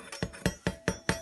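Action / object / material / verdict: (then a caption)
tap / bread loaf / bread / hollow. A fresh no-knead cranberry almond bread loaf, just taken out of the pot, is tapped six times, giving dull, short, hollow knocks with little ring. The hollow sound means the loaf is baked through and done.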